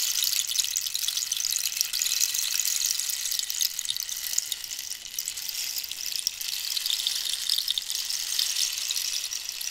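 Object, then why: Cactus wood rainstick. Long nails scratch the spiny texture of a hollow cactus-wood rainstick held diagonally. The result is a steady, bright, hissing rustle with almost no low end, dense and continuous like light rain or sizzling, holding a fairly even level for the whole clip.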